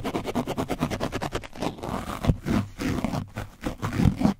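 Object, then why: Painted foam microphone windscreen. A foam brush is scraped across the top and side of an orange foam microphone windscreen coated in dried paint. Rapid rhythmic scratching strokes come first, then give way to slower, heavier, rougher scrapes. The sound is dense and low-heavy with little brightness.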